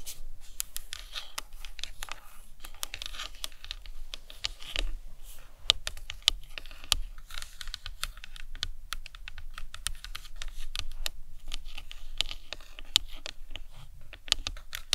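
Long nails tap and scratch across the top and sides of a life-size hollow plastic anatomical skull model resting on a towel. The result is a steady stream of quick, dry, bright clicks with almost no ring, mixed with soft scratchy rustling over a faint low rumble.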